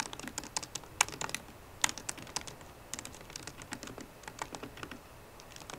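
Fingertips with painted nails on both hands tap the black plastic keys of a solid 13-inch silver aluminium MacBook Pro keyboard. Quick, irregular, bright clicks sound with almost no ring, and a few sharper strikes stand out from the soft, steady typing.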